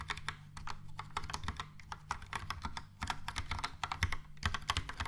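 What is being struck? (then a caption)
Plastic mechanical keyboard. Fingertips type quickly on a Logitech POP Keys plastic mechanical keyboard with a yellow plastic case and round plastic keycaps. A steady run of short, bright plastic clacks with low thocky bottoms plays over a faint constant low hum.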